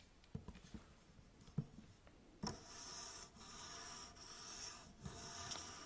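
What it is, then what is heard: Aluminium tripod legs scratched. A folded, bronze-coloured aluminium tripod with hollow tube legs is held and then laid on a table, making a few soft, light knocks. Long nails then scratch and rub along the legs, producing a steady, bright, raspy rubbing that briefly dips and resumes several times.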